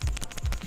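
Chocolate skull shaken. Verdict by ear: Hollow.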